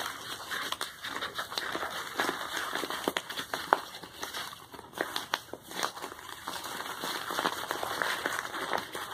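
Fingertips and short nails scratch and rub across a medium brown kraft paper bubble-lined mailer with a printed shipping label, lying flat on a towel and appearing to hold something. The result is a steady, dry, crinkly rustle with frequent sharp scratchy ticks, mostly in the mid and bright range, with almost no low end.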